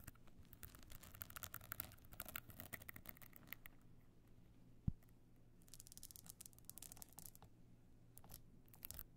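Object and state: Stone-encrusted evening clutch.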